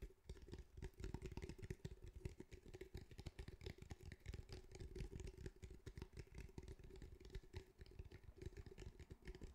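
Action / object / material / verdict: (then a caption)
tap / fabric-covered cylindrical speaker / fabric mesh / none. A grey fabric-mesh cylindrical speaker, held up near the mic, is tapped with fingertips on its fabric surface. A quick, continuous run of soft, dull, low thumps with almost no ring is heard, over a faint steady hum.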